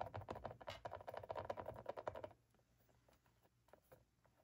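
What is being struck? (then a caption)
Plastic mannequin face mask. Long black-polished nails on both hands tap and scratch the forehead, eyes and cheeks of a hollow, head-sized plastic or vinyl mannequin face mask lying on a wooden floor. Quick, uneven clicking taps with a hollow, mid-pitched plastic tone and light scratching come densely for a little over two seconds. They then thin out to a few soft, scattered taps.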